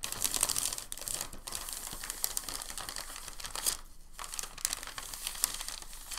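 A thin, crinkled sheet of packing paper is pressed and rubbed between the palms, then folded into a smaller stack. The sound is a continuous bright, dense crinkling and crackling, with a short near-silent pause about two-thirds of the way through before the crinkling resumes.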